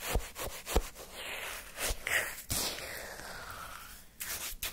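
A wooden stick scrapes, scoops and churns frozen orange shaved-ice sherbet in a paper cup. Crunchy, crisp scraping and rubbing strokes come in uneven bursts with a few sharper low knocks, over a steady gritty hiss.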